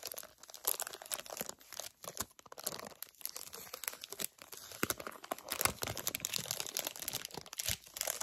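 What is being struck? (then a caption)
Flat plastic package with gel eye pads. Fingertips and long nails crinkle and bend a flat plastic package holding gel eye pads. A dense run of quick, bright, crackling crinkles and crunches continues with no gaps, mostly high-pitched with very little low end.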